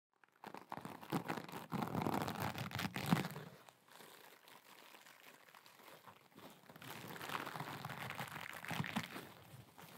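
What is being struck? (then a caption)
Metallic mesh scrub sponge. A rectangular kitchen scrub sponge covered in sparkly blue metallic mesh, soft and flexible, is scratched and squeezed with long glitter acrylic nails. Dense, rapid crinkling and crunching scratches fill the first four seconds. The sound then drops to a faint rustle before louder crinkly scratching returns near the end.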